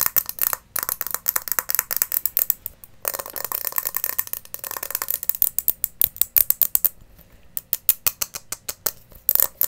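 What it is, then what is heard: Glass terrarium bowl with pebbles. Long nails tap a small, hollow glass terrarium bowl, partly filled with white pebbles and a plant, while it is tilted so the pebbles rattle inside. The result is a rapid series of sharp, bright glassy clicks and ticks mixed with a gritty, scraping pebble rattle. The sound has almost no low end and each tap dies away instantly.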